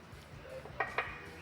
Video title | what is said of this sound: SPORT 600CC PALING DICARI ??? - Review Kawasaki Ninja ZX-6R 2022 | bahannya ini bukan plastik loh, ini plat sih, plat baja atau apa gitu saya ketok seperti ini, dia khas besi